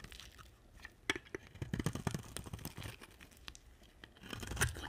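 A hand-sized, solid cream-white dry soap bar is held in one hand and carved with a box-cutter blade, with scraping strokes that shed crumbly chips. Dry, crunchy, crackling scrapes come in quick uneven bursts, with sharper cuts near the start and a louder stroke at the end.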